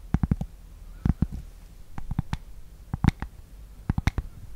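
A thin, solid, flat rectangular cork board is held beside the mic and scratched and tapped with long nails. Soft, dull, low taps land in quick clusters of three or four, each dying almost instantly, with only a faint scratchy hiss between them.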